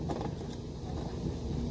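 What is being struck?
Nothing is struck.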